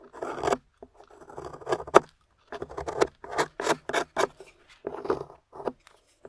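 A thin metal spatula scrapes and digs into the powdery beige clay crust coating a small, solid, translucent amber glycerin soap bar held in the hand, knocking crumbs loose. It makes dry, gritty scraping strokes in short, irregular bursts separated by brief pauses, mostly in the midrange with crisp, crumbly edges.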